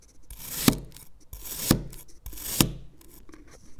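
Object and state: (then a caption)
Knife cutting kinetic sand. A black knife makes diagonal criss-cross cuts into the solid surface of a green kinetic sand fish mold. Three gritty, rasping slicing strokes each build and end in a short, crisp tap with bright grainy hiss and almost no ring, followed by faint soft crumbling.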